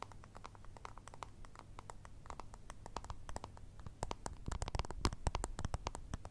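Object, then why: Small round plastic remote control. Long red nails tap rapidly on a small, hollow, round white and grey plastic remote control puck held in both hands. The taps are quick, dry, irregular clicks with bright, short ticks over a steady low hum. They grow louder and sharper in the second half.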